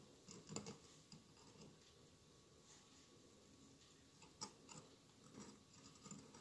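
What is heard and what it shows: Fingernails scratch and tap the glass tiles of a hollow glass mosaic votive candle holder with a lit candle inside. A quiet, steady, gritty scratching runs throughout, broken by soft, bright taps that die away almost instantly, with a louder cluster near the start and another around the four-second mark.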